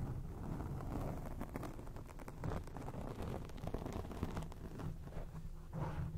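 Long acrylic nails scratch across a grey foam microphone windscreen, producing a dense, continuous low rumble with rough crackling textures. The scratching swells and fades in short bursts, staying muffled and bass-heavy with little bright content.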